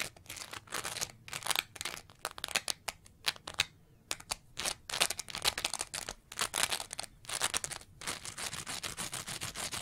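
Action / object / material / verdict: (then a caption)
scrape / layered foam scrub sponge / foam / none. A green layered foam scrub sponge with a bumpy green surface and a pale foam layer is scratched with long nails. The result is a rapid, uneven run of dry, bright scratching and rasping bursts, separated by brief pauses, with almost no low end.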